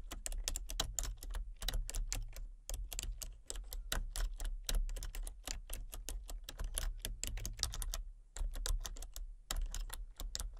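Fingertips and short nails type rapidly on a full-size plastic computer keyboard with a colour-changing backlight and a hollow casing. Dense, sharp, bright key clicks sit over a low, hollow thump and stop almost at once, with brief pauses near 2.5 and 8 seconds before the tapping resumes.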